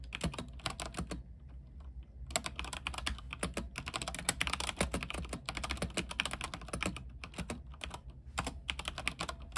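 Fingertips type quickly on a backlit mechanical keyboard with white plastic keycaps on a silver frame. Rapid, bright, short clacks pause briefly about a second in, then resume in a dense flurry over a steady low hum.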